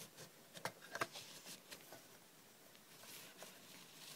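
Long red nails tap the top and sides of a small, closed, hollow hinged aluminium cough drop tin. Two sharp, bright metallic clicks with a very short ring stand out among softer, quiet taps and light scratchy patter.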